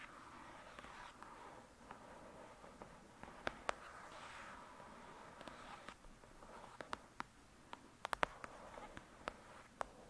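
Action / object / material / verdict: tap / paperback book with card cover / paper / none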